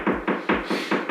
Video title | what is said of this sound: DIY Mudroom & Home Office Makeover For My Dad! | if you knock on another part of the wall it's going to sound hollow